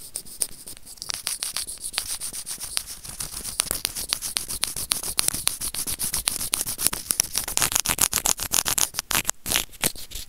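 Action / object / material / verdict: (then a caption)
scrape / small plastic earphone remote scraped with plastic tweezers / plastic / none. White plastic tweezers are rubbed back and forth against a small, hollow, white plastic earphone remote with mic. The result is a dense, irregular stream of quick, dry scratching and clicking, mostly bright and high with little low end.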